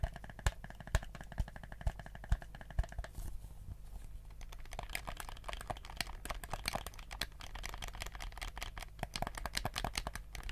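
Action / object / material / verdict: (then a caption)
tap / plastic game controller / plastic / none. A black, hollow plastic PlayStation 4 DualShock controller is held in both hands while fingertips click its buttons and tap its surface. It starts with a few evenly spaced, sharp taps, then turns into rapid, irregular clicking with bright, crisp transients. A steady low hum runs underneath throughout.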